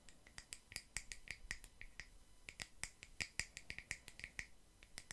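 A palm-sized, solid round slice of natural wood with its bark edge, used as a coaster, is tapped and scratched with long nails fitted with metal paperclips. The result is a quick, uneven series of sharp, dry clicks with a bright metallic ring centred around 1.9 kHz and high sparkle above. Each click dies away almost instantly over quiet background hiss.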